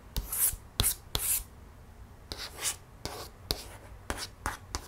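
A long nail traces over the tiger illustration on a thick, glossy paperboard page of an open board book, with the page partly lifted. Short bright scratching strokes alternate with sharp ticks that carry a low thump, and quiet pauses fall between them.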